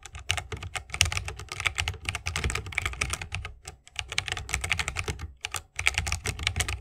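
Rapid typing with the fingertips of both hands on a 60% mechanical keyboard with a bamboo wood case, plastic keycaps and tactile Holy Panda switches. Each press gives a short, bright clack over a soft low thock, with brief pauses between bursts of keystrokes.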